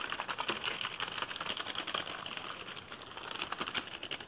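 A black plastic computer keyboard is held upright close by while fingertips press and tap its keys fast and hard. The result is a dense, uneven stream of sharp, bright plastic clicks and clacks with little low end.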